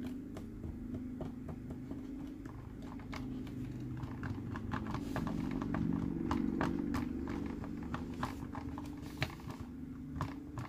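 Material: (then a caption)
Plastic. A green, hollow plastic Mike Wazowski sipper cup with a straw, standing on a purple base, is tapped and scratched with fingertips and nails. Quick, irregular light clicks and taps ring out over a steady low scratching rustle, growing somewhat louder toward the middle.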